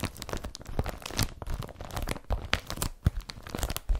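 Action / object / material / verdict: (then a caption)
scrape / woven polypropylene carrier bag / polypropylene / none. Fingertips and nails scratch across the woven surface of a blue woven polypropylene IKEA BRATTBY carrier bag laid flat. The result is a dense run of dry, scratchy crinkling and rasping bursts that flicker in loudness with sharper spikes throughout, carrying most of their weight in a low rumble.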